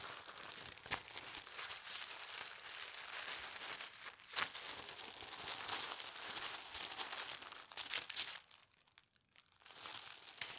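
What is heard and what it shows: A thin holly-print tissue paper sheet is folded into a narrow strip as fingers and nails crease and press along the fold. Bright, dense crinkling runs almost continuously, with sharper crackles near 1, 4.3 and 8 seconds. It drops to near silence for about a second before the crinkling resumes.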